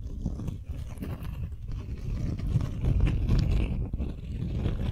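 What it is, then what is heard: Beeswax-coated cotton wrap. Long nails scratch across the waxy surface of a folded beeswax-coated cotton wrap sheet held in both hands. The result is a dense, low, muffled scratching and crinkling texture, with irregular strokes that grow slightly louder toward the middle before easing off.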